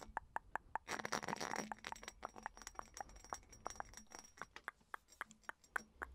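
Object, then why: Small glass perfume bottle. Long nails tap and scratch across the textured surface of a small, hollow, round purple studded glass perfume bottle. Quick, bright clicking taps with a short glassy ring come in an irregular stream. A dense scratchy rasp runs from about one to nearly two seconds.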